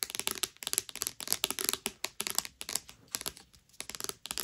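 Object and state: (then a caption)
Paperback book with glossy card cover. Long nails scratch and rub the glossy cardstock cover of a thick, solid paperback novel (Owarimonogatari) lying flat. Quick bursts of dry, crisp scratching come in clustered runs with brief pauses, bright and hissy with almost no low end. Each stroke stops dead without ringing.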